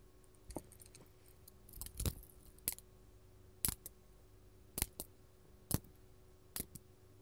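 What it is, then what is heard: Glass crystal gem tapped with metal nails. A large, solid, faceted purple artificial glass crystal gem, held in the hand, is tapped with long gold metal filigree claw nails. It makes a series of quiet, sharp, bright clicks and ticks that stop almost instantly, with some taps coming in quick pairs and pauses between them, over a faint low hum.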